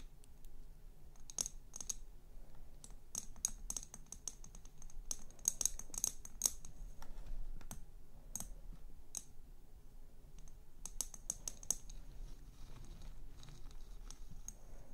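Long nails tap and scratch the sides of a tall, hollow, empty frosted glass cylinder lit from below and standing on a chrome LED base, while both hands hold it. Many sharp, quick clicks with a bright high ring come in irregular clusters over a low, steady rumble, with faint scratching between them.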